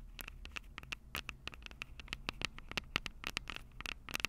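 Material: Metal mesh.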